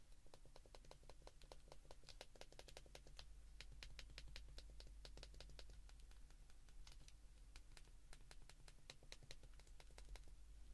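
Fast thumb presses on the number keys of an open white plastic flip phone held in both hands make a steady run of quick, bright, dry clicks. The clicks are sharp and short with almost no ring, sitting over a quiet, constant low hum.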